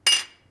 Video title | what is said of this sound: STIHL BR 600 / 700 LEAKING ENGINE PAN REPAIR / DIY | if you just drop it you can hear how tingy it is now when these things are cracked it'll just kind of go thud